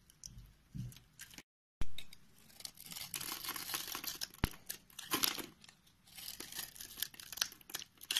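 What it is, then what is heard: Bar soap being carved. A green box-cutter blade slices thin ridges into a solid white rectangular bar of soap held in the hand. The result is a run of crisp, bright scraping and crackling cuts with a low rustle underneath. A brief silence breaks the cutting early on, followed by a sharper, louder cut.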